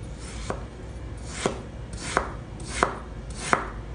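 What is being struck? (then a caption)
Packed kinetic sand block cut with a knife on a wooden board. A purple knife slices repeatedly through a large, solid, green heart-shaped mold of packed kinetic sand resting on a wooden board. Five soft, dry, scraping cuts are heard, each ending in a brief, crisp crunch as the blade reaches the board, with a faint hiss of sand between them.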